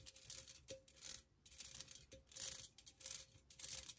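Long nails tap and scratch the sides of a hollow, empty, hand-sized pink metal pencil cup with perforated floral cutouts. The result is quiet, bright, rattly clicking and scraping in uneven bursts, with a faint thin metallic ring underneath.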